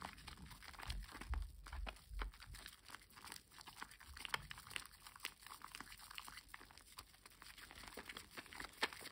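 A wet, solid rectangular green bar of household soap is rubbed between the palms and gripped by fingers over a basin of soapy water. The rubbing and lathering make quiet, irregular wet squishes and crackly bubbling foam, with a soft low rumble underneath.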